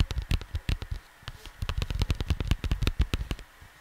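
Fingertips rapidly tap and scratch on a cardboard vinyl record sleeve (album cover). The result is a quick run of dull, low, hollow thumps with brief bright clicks and a little scratchy rustle between them. Each tap dies away almost instantly.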